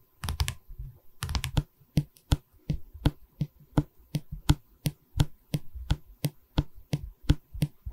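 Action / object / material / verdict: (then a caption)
tap / pine canvas stretcher frame / wood / none. Fingernails tap on the top edge of a light pine canvas stretcher frame, then both hands hold the wooden bar as the nails tap and scratch along it. The result is a run of short, dry, woody knocks with a low body and brief bright clicks, interspersed with soft scratching. The taps come at an uneven pace.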